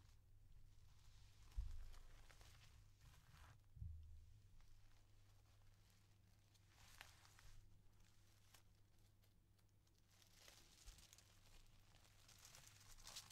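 Thin, stacked, empty sheets of yellow tissue paper are lifted, unfolded and smoothed flat with fingertips and dark-painted nails on a velvet-covered table, with unused scissors lying nearby. Soft, airy crinkling and rustling drift in and out over a steady low hum, with two duller thumps early on standing out from the quiet handling.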